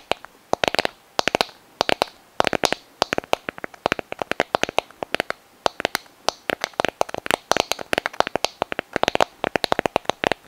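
Long nails tap and scratch a white sand dollar skeleton, a palm-sized hollow calcareous shell held close to the microphone. The result is a fast, irregular run of crisp, dry, bright clicks that stop instantly, mixed with short scratchy bursts, with almost no low end.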